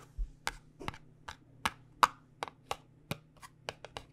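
A small white paperboard cosmetic box is held in both hands and tapped on its faces with long nails. It gives a series of quick, dry, crisp clicks at an uneven pace, each dying away almost instantly, over a faint low steady hum.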